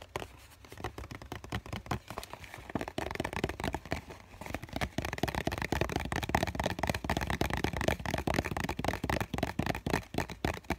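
Fingertips and short nails tap and scratch the side and edge of a small, hollow cardboard tissue box with a green floral print, held close. Rapid, dry, papery taps and scratchy rubs come in a dense, steady stream with a hollow low thump beneath. The tapping is softer at first and grows louder and busier after about three seconds, and each hit dies away at once.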